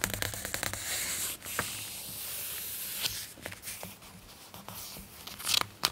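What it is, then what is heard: Glossy magazine pages rustling. An open glossy paper magazine has its pages turned and rubbed flat with the palm and fingertips. Bright, crisp paper rustling and sliding hiss is heard, broken by sharp flicks and crinkles as pages turn, with a low hum underneath.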